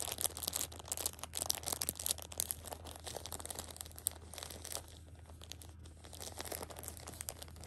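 A hand with long pink nails grips and crinkles the loose plastic film wrapped around a pocket tissue six-pack. The result is a dense run of bright, crackling crinkles over a steady low hum, easing briefly midway before picking up again.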